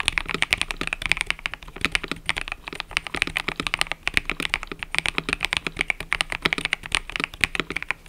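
Fingertips type continuously on a mechanical keyboard with cream and purple plastic keycaps. A steady, rapid stream of short, bright clacks rings off almost instantly, with little low end beneath them.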